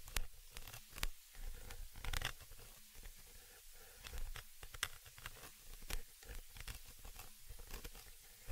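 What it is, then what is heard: Metal mesh microphone grille. A thin dark tool scratches across the small, hollow metal mesh grille of a stereo microphone capsule, staying in contact throughout. It makes close, crackly scraping and rustling strokes with sharp, bright clicks over a heavy low rumble, and each one dies away almost instantly.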